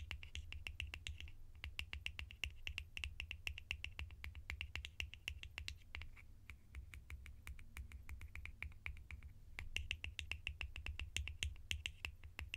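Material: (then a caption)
Plastic. Sharp, rapid tapping on plastic lids for ASMR, a fast run of crisp clicks with a bright band around 2–3 kHz over a steady low hum. The taps come in quick bursts across the whole clip, each dying away almost instantly.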